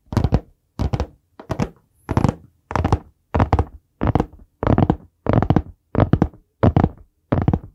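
A large, solid, dark brown hardcover notebook or book with a board cover is held in both hands in front of the mic and tapped and drummed on the cover with the fingertips. Twelve separate short bursts of quick, muffled thuds follow one another, deep and low with almost no ring.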